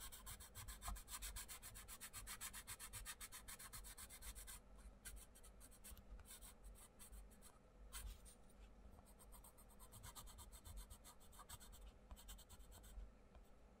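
A wooden coloured pencil colours a paper page of an open paperback colouring book on a wooden table, with short rubbing strokes while the other hand holds the page. A dry, scratchy rasp with bright hiss repeats in rapid, even strokes for the first few seconds, then in looser, more spaced bursts, over a faint low rumble.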